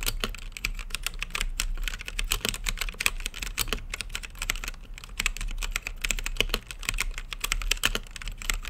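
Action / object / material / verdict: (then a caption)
tap / mechanical keyboard with plastic keycaps / plastic / none. Fingertips type continuously on a mechanical keyboard with plastic keycaps and a clear acrylic RGB case, producing a rapid, steady stream of short, crisp clacks. The keystrokes are bright and clicky, peaking around 2.5 kHz, over a constant low rumble.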